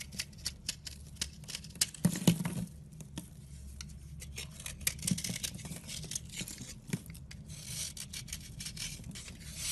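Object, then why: Round soap bar scraped with a knife. A red utility knife scrapes the chalky white surface of a solid round soap bar flat, sending powdery flakes falling. Short, dry, raspy scraping strokes with bright, crisp edges come in quick succession, with louder bursts near 2 and 5 seconds, over a low steady hum.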